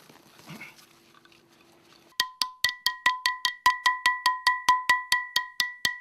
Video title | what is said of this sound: 【人間国宝】角谷家の伝える技 〜祖父・叔父・父から引き継ぐ“鉄の系譜”〜 | 土が落ちるにつれ、釜を叩く音が澄んだ音色になってきました。釜の内部に傷がなく、鋳込みがうまくいった証拠です。